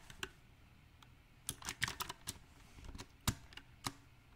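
Fingertips type unevenly on a backlit compact mechanical keyboard with round typewriter-style plastic keycaps set on a silver metal frame. Sharp, bright clicks with a low thock under some presses land at irregular intervals, sometimes in quick clusters and sometimes with pauses. Each keystroke dies away almost at once.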